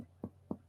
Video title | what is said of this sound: SEMIOLOGIA DO ABDOMEN - FIXANDO O CICLO BÁSICO 2X+ | Normalmente aqui, o hipocôndrio direito, a gente tem um som maciço na percussão.